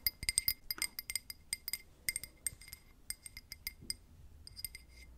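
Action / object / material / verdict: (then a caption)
tap / glass drinking glass / glass / none. A drinking glass is tapped with paper clip nails, producing a quick series of light, bright clinks. The taps are irregular and closely spaced, each with a short ring. There is no speech.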